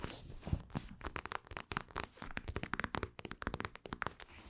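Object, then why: Plastic eye mask filled with gel beads. Long acrylic nails scratch across a mint-green plastic eye mask filled with gel beads. The result is a quick, uneven run of short, dry crinkling scrapes with bright edges and soft low thumps. Each stroke stops almost at once with no ring.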